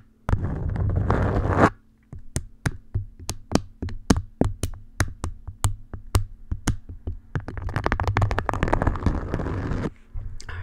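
An orange beeswax-coated cotton food wrap folded over a microphone is scratched and tapped with long nails. A dense, crinkly rustle of scratching opens the clip, then gives way to a run of sharp, separate taps with a low, thumping body. Continuous scratching returns near the end.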